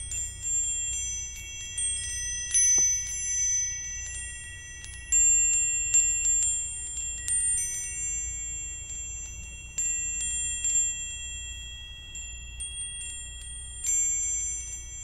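A small hanging wind chime with thin hollow metal tubes and a crescent-moon and star ornament is held up by its top loop in the fingertips and swung so the tubes strike each other. Bursts of bright, high metallic tinkling ring out and shimmer for a few seconds before fading, over a faint low rumble.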